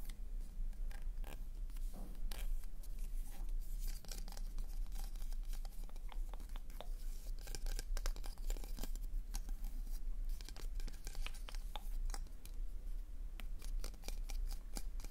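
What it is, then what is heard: Plastic drinking straw. Fingertips and nails rub and scratch along the length of a thin, hollow red plastic drinking straw held in both hands. Dense, rapid scratchy ticks and crinkly rubbing sounds continue throughout over a steady low hum.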